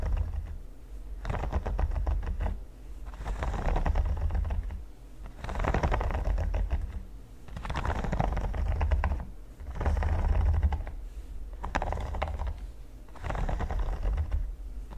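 Fast fingernail tapping on the studs of a flat, solid red silicone pyramid mat makes dense, rapid clicking. The tapping comes in swelling bursts with brief quieter gaps, over a deep low thud.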